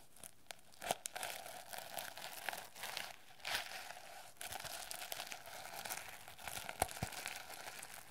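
Long nails scratch and tap the plastic sequins and cover edge of a medium-sized hardcover notebook with a reversible sequin cover, held edge-on and then face-on. The result is a dense, bright, crinkly scratching texture with a steady mid-range shimmer. Short, sharp clicks stand out near 0.9, 3.5 and 6.8 seconds.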